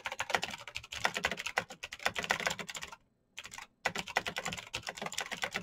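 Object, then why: Plastic mechanical keyboard. Fingertips type fast on the keycaps of a black plastic mechanical keyboard with clicky green switches. The result is a dense run of sharp, bright clicks with very short decay, broken by two brief pauses a little after the three-second mark before the rapid typing resumes.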